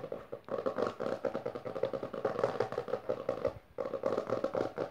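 Long fingernails, first on one hand and then on both, rapidly scratch and tap the textured maroon cover of a closed hardcover book lying on purple fabric. The result is a dense stream of fast, dry clicks and scratchy rasps with a papery midrange tone, broken by a brief pause before the quick tapping resumes.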